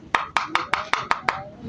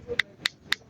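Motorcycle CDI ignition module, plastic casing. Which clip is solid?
The second.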